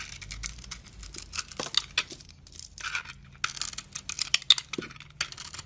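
A metal knife blade scrapes flakes and curls from the surface of a solid blue soap bar with a glittery purple coating, held in the hand. The result is quiet, bright, scratchy rasps that come in short bursts with brief pauses between strokes, plus a few sharp crisp clicks.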